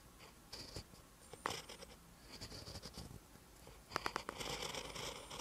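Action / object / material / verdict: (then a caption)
scrape / metal-tipped pen on lined paper page / paper / none. A metal-tipped pen writes green Hangul on a lined paper notebook page, giving continuous bright scratching with short bursts of pen strokes. A few sharper taps stand out near the end amid the steady, quiet scraping.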